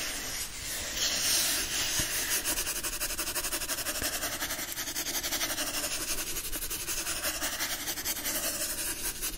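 A yellow hardcover book with a printed cover is held and turned over while a palm and fingertips rub the front cover, then scratch the back cover. A steady, bright, hiss-like scraping runs throughout, pulsing with quick repeated strokes at an even level.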